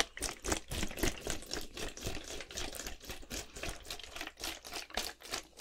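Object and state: Plastic bottle partly filled with liquid.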